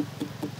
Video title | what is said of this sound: Secrets d’une île authentique : Voyage à Maupiti, perle cachée de la Polynésie – Documentaire - GD | When you hear the sound, that's when you'll know if it's better. And there, it's better, but you see, you can leave it for a while.